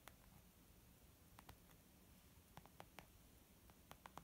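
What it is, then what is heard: Leather makeup bag. Slow fingertip taps and light nail scratching on a white textured leather zip makeup pouch. Nine soft, dull taps with brief bright clicks stand out over a quiet low rumble and faint scratchy rustle. Each tap dies away almost instantly.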